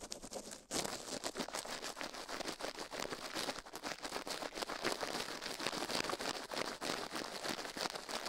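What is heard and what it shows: A gloved hand quickly brushes and scratches the ear canal and rim of the left silicone ear of a binaural microphone, resting on a steel plate, with a toothbrush. After a brief quiet start, a dense, continuous run of fast, uneven, bright scratchy strokes follows, with almost no low end.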